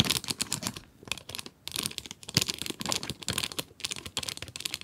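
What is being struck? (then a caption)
Cardboard pencil box with plastic window. Long nails scratch and tap the plastic window and edges of a full 12-pack cardboard pencil box. Bright, crinkly scratching comes in dense bursts with short pauses, mixed with quick, dry taps that die away almost instantly.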